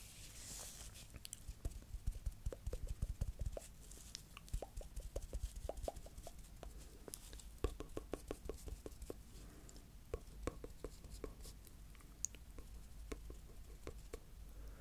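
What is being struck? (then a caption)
Sisal twine-wrapped ball. A small, palm-sized, solid-looking ball wrapped in striped natural and cream sisal or jute twine is held in one hand and scratched and tapped with the fingernails of the other. A steady run of dry, sharp clicks and taps with almost no ring cuts through soft scratching, over a low rumble.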